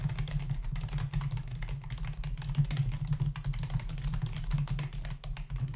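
Fingertips of both hands tap the plastic keys of a black plastic membrane computer keyboard with a hollow body, resting on a desk. A rapid, continuous stream of short, dry clicks and taps plays over a steady low hum.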